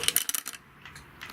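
An item is dropped into a big orange street post box, setting off a quick series of bright, metallic, tinkling clinks that fade within about half a second. The sound is thin and high with almost no low end, and the item seems to settle inside the box with a softer rattle near the end.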